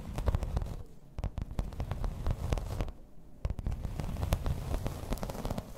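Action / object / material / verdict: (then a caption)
tap / thin embossed plastic placemat / plastic / none. Long red nails tap and scratch the textured surface of a thin, solid grey embossed plastic placemat. Many quick, dry clicks land over a soft, low rumbling scratch, with brief quieter gaps.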